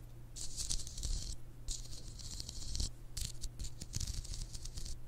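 Long acrylic nails scratch and rub the white spiked plastic or silicone sleeve around the solid glass handle of a hand-sized massage ice globe, whose round glass ball is filled with green liquid, held up close to a binaural mic. The clip carries bright, dry scratchy rattling in several bursts with brief quieter gaps, over a steady low hum.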